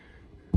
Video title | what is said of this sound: Is this $250,000 Bomb Shelter NICER than your house??? | This is hardy board. Okay, and hardy board, it sounds like wood, but it's actually made of concrete.